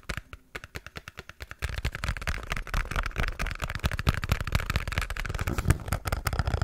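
A small, hollow pink printed cardboard product box is held in both hands close up while fingertips and nails tap and scratch its top and sides. A run of light, separate taps gives way at about 1.6 seconds to dense, louder, overlapping tapping and scratching. The sound is dull and low-heavy, with very short, dry hits that barely ring.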